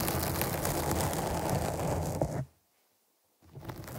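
Long nails scratch the top of a black foam windscreen on a microphone, making a dense, close, rumbling scratch with a heavy low end. The scratching continues steadily for about two and a half seconds, stops into near silence for about a second, then resumes more quietly.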